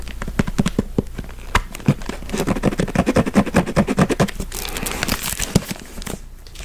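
A thick, solid hardcover Stephen King book with a glossy paper dust jacket is tapped and scratched with fingertips and nails on the cover and the page edges. Quick, dull, irregular taps with a low thud around 180 Hz mix with papery scratching and crinkling, and a longer stretch of scratching near the end.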